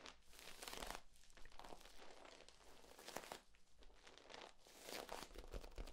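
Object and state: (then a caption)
Corrugated plastic tube being bent. Hands compress and bend a hollow, ribbed, flexible yellow corrugated plastic tube, and its ribs crinkle. It makes a dense, continuous crackling and crunching rustle that swells in louder bursts and fades between them.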